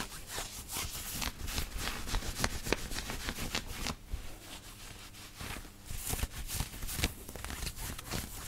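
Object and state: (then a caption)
Cotton t-shirt being scratched. Fingertips and nails rub and scratch the chest of a black knit cotton t-shirt being worn on the body. They make quick, irregular bursts of bright, hissy scratching over a soft, low rustle, with a quieter stretch in the middle before the scratching picks up again.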